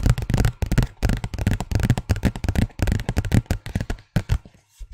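A large, thin white paper envelope is scratched and tapped with the fingernails of both hands. Quick, dry taps and scratching bursts come in rapid clusters with brief pauses between them, and the papery rustle sounds mostly low and dull.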